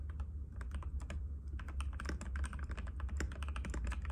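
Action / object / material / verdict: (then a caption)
tap / plastic mechanical keyboard / plastic / none. Fingertips of both hands type continuously on a compact cream-white mechanical keyboard with plastic keycaps and a hollow case, resting on a glass table. Rapid, crisp clicky taps tumble over each other in a steady stream, with brief bright clacks above a constant low hum.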